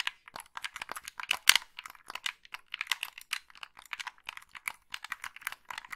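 Long pink nails tap and click the colored buttons and thumbsticks of a hollow, black plastic Xbox-style gamepad. About 28 quick, dry clicks sound in an uneven stream, bright and crisp, centered around 2 kHz with no low end and almost no ring after each tap.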